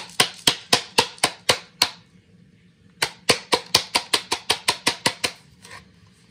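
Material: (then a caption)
Plastic. A bright green plastic Bodum 10903 electric burr coffee grinder, about 20 cm tall with a metal burr inside, old coffee grounds and its power cord attached, is held upside down in both hands and gently tapped, apparently by hand, to loosen the grounds for cleaning. Nineteen sharp, bright, hollow plastic knocks come in two quick bursts separated by a short pause, each dying away almost instantly, with a faint softer tap at the end.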